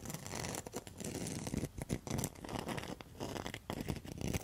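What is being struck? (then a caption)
Rattan and mosaic coaster. A round rattan and mosaic coaster is held up while its rattan rim is scratched with long metal nail tips. The result is a dense, continuous scratchy rasp with rapid bursts of texture and a fuller low rumble beneath, with no ring after each stroke.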